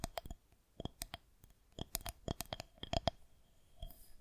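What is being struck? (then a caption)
Plastic rolling pin. A solid white plastic rolling pin is held horizontally while long nails of both hands tap and scratch its top. The result is a quiet run of sharp, dry clicks with a faint ringing tone around 680 Hz. Between the clicks come soft, brief scratching sounds, and the hits arrive at an irregular pace.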